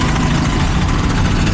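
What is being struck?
Nothing is struck.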